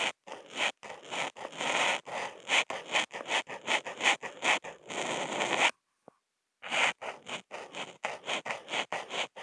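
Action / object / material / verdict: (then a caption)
scrape / Paper sheet under a marker tip / paper / none. A Posca marker tip, picked up by a contact mic on the marker, scratches flat white Kent paper in fast zigzag strokes. It makes a rapid run of dry, bright scraping bursts with short gaps between them. A near-silent pause with one faint tick falls just past the six-second mark before the scribbling resumes.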